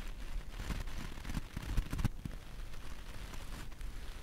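A bristle brush with a wooden handle rubs and scratches across a small, round, flat, solid punch needle coaster embroidered in white and light blue wool loops, held in the hand with other coasters stacked beneath it. The brushing makes a soft, low, muffled rustling and scratching with irregular crackly strokes.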